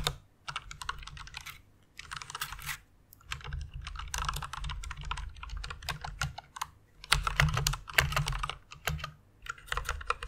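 A white plastic mechanical keyboard with pink backlighting is typed on quickly with long fingernails. The result is bursts of bright, clacky key strikes at an uneven pace, separated by short pauses, over a steady low hum.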